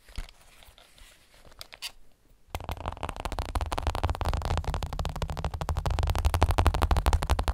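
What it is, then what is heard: Headphones tapped. Plastic headphones are tapped: a few soft, scattered taps for the first two and a half seconds, then a sudden shift to fast, steady tapping that runs to the end. The taps are dull, short and low, with a deep thumping body, and they grow slightly louder toward the end.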